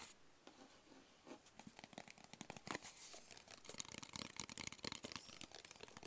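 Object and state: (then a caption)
Cardboard box tapped with fingertips and nails. A small, hollow, closed black cardboard gift box is tapped on its sides with fingertips and short nails. The result is a quiet, rapid flurry of dry, crisp taps with a bright, papery crinkle and no lingering ring.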